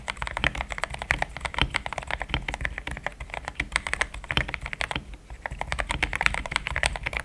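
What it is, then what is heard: Plastic mechanical keyboard being typed on. Fingertips of both hands type steadily on a compact pink-and-cream plastic mechanical keyboard with thick XDA-profile keycaps, Gateron Yellow switches and a polycarbonate plate, sitting on a desk mat. It makes a continuous run of short, dry clacks with a bright upper ring and a soft low thock under each press, with almost no decay between strokes.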